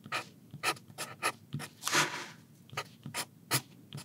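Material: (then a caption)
Paper. The tip of a soft 4B wooden pencil writes Chinese characters on a flat sheet of graph-ruled paper in a thin notebook lying on a wooden desk. A steady series of short, bright, dry graphite scratches is heard, with one longer, louder drawn stroke midway, each stroke stopping crisply in the quiet between.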